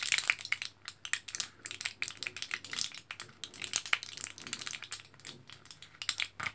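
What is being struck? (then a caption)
Plastic and foil blister pack with capsules. A fingertip and nail scratch and tap across the foil surface of a thin, orange printed, foil-backed plastic blister pack with capsules sealed inside. The result is a rapid, irregular stream of bright, crinkly clicks and scrapes that die away almost instantly, with almost no low end.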